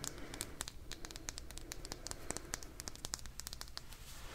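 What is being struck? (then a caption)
Small vinyl toy figure. A small, purple, likely hollow vinyl toy figure is held in one hand and tapped and scratched with long dark-painted nails. It makes a quick, steady run of light, bright, dry clicks that die away at once, with soft scratchy rustling between them. A constant low hum sits underneath.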